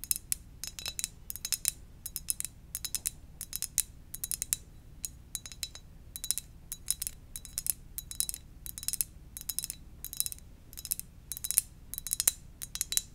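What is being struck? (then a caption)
Ceramic mug. Gentle tapping on a ceramic donut-shaped mug, made of quick, bright clinks that come in rapid bursts throughout. Each tap rings only briefly over a faint low background hum.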